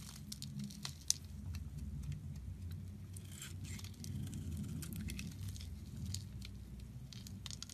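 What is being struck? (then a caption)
Bar of soap. A solid, rectangular light-blue bar of soap is held in the hand and shaved and carved with a metal box-cutter blade, breaking off flakes. Soft, dry scraping and crinkly, bright crackles sit over a steady low hum, with one sharp, louder snap just after the first second.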